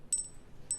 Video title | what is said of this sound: JewelleryMaker Live | It sounds like metal, doesn't it?